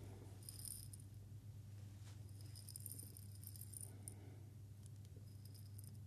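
A Moccona glass coffee jar with a metal lid, filled with coffee beans, is held and shaken by hand while a second jar sits idle on the table. Bright, quick rattling of the beans against the glass comes in bursts over a steady low hum, and the bursts pause briefly in between.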